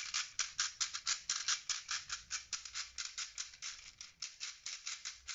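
A small, hollow red plastic puzzle ball with loose colored plastic beads inside is held in the hand while the fingertips twist and shake it. About 27 quick, bright rattling bursts follow one another at a loose, uneven pace. Each is a crisp, high clatter of beads that dies away almost at once, with no low rumble.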